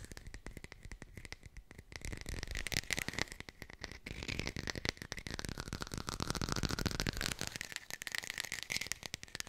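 A textured artificial plastic lemon is fast-tapped with the fingers and recorded close on a hi-fi microphone. The result is a rapid, dense stream of short, dry clicks and light rattling taps with no ring, over a faint steady high tone near 2 kHz.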